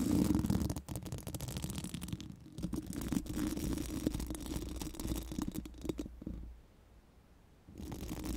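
Pink silicone wands rub and scratch across a hollow metal mesh microphone grille, making a dense, low, rumbling scrape with a steady midrange hum. The rubbing goes on with quick, uneven strokes, drops almost to silence for about a second near the end, then starts again.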